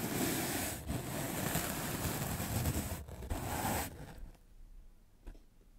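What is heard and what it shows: A large soft black makeup brush is swept fast across a white rectangular magic eraser block of solid melamine foam held in the fingers. It makes a dense, rushing, scratchy brushing with a low rumble and a bright hiss, briefly dipping twice. After about four seconds it drops to a faint, sparse rustle with one small tick near the end.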